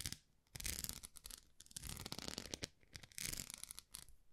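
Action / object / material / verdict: scrape / plastic rice paddle with textured face / plastic / none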